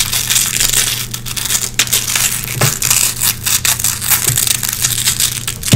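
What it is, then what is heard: Nylon velcro hook strip. Long red-painted fingernails pick and scratch lint from the hooks of a small gray nylon velcro hook patch. The result is a continuous bright, crackly scratching with quick rasping bursts over a steady low hum.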